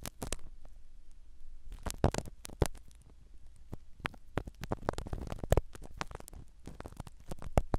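A black spiral ear pick scratches the foam cover of a small black foam-covered microphone set inside a silicone dummy ear. Close, muffled scratching and crackling come in quick, uneven bursts, heavy in low rumble with a few sharper bright clicks standing out.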